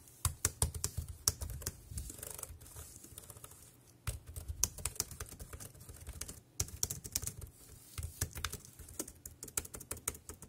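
Fingertips type quickly on the round keys of a dark grey plastic wireless keyboard, producing rapid, short, bright clicks over a low, soft thump from the keys bottoming out. The typing runs in three bursts separated by brief pauses, with each click dying away almost instantly.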